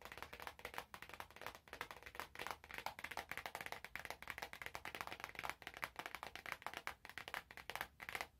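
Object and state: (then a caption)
Cardboard perfume box. A small, hollow, glossy orange cardboard perfume box is held in both hands and tapped with long nails and fingertips. It produces a rapid, steady stream of crisp, bright, hollow clicks centered around 1.1 kHz, each dying away almost instantly with very little low end.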